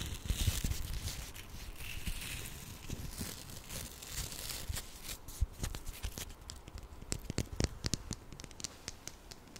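A small hollow red plastic ladybug toy with googly eyes is scratched and rubbed with fingernails in both hands. The result is a dense run of dry scratching, crinkling and tearing-like textures with sharp clicky taps. The sound is brighter and busier at first, then turns to sparser, isolated ticks and scrapes.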